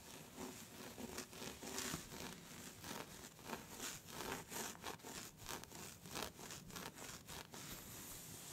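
Both hands with long red nails scratch and rub across a soft cream/beige fabric scarf with a faint brown print, lying flat and slightly bunched. The result is a steady run of quiet, bright, scratchy strokes and rustling with a hissy texture and quick, repeated swipes throughout.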